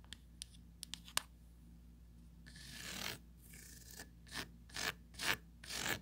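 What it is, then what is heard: Plastic mesh tray scratched with nails. Long pointed acrylic nails work over a small, empty, hollow oval plastic tray with a raised rim and a textured mesh grid surface. A few light, sharp clicks come first, then a slow rasping scratch builds up. Several bright, gritty strokes follow as the nails drag across the grid.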